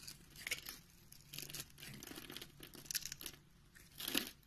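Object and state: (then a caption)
Soap bar scraped with a blade. A utility knife blade scrapes across the finely scored grid surface of an oval, solid pink soap bar held in the hand, throwing off small pink cubes. The result is a quiet run of dry, crisp, crunchy scraping and crumbling, mostly bright and high-pitched, rising in short louder bursts with the strongest near the end.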